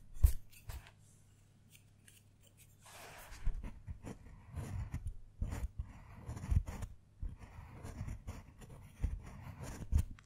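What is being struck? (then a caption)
Dark chocolate bar scraped with a metal blade. A metal carving blade with a wooden handle scratches lines into one square of a segmented, solid dark chocolate bar, lifting shavings as it goes. Short, dry scraping strokes come in uneven bursts with low, dull thuds, each dying away almost at once.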